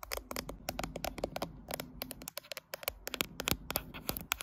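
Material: Glass.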